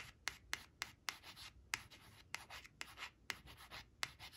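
Long nail tips trace the letters of a thin, flat, glossy coated cardboard word card reading "brown" that rests on a fabric cloth, scratching its surface. Soft, bright rubbing and scratching strokes are punctuated by a series of sharp, clicky nail taps that die away almost instantly, with very little low end.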